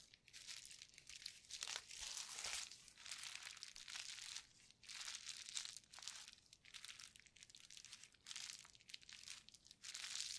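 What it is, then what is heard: Plastic bubble wrap sheet. A painted clear plastic bubble wrap sheet with hollow bubbles is first held and crinkled by gloved hands, then laid flat and pressed with the palms. The result is a steady run of bright, dry crinkling and crackling bursts that swell and fade, with almost no low end and no ring after each burst.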